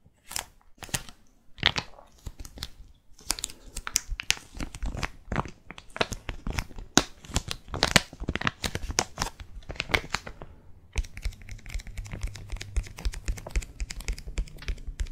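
A small, flat, sealed and filled foil/plastic laminate sachet holding a bubbling charcoal sheet mask is held in both hands and tapped and scratched with long red-painted nails. Sharp, bright crinkling clicks and taps come in quick, irregular bursts. Toward the end they merge into a denser, continuous scratching over a faint low hum.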